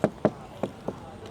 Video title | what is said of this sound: ลองขับ CHERY V23 อเนกประสงค์ไฟฟ้าทรงกล่องลุคลุย มีดีน่าซื้อ บางเรื่องต้องคิด แนะซื้อขับสอง.. | เสียงมันแปลกๆคือวัสดุบางส่วนของรถเนี้ยมันเป็นcompositนะครับ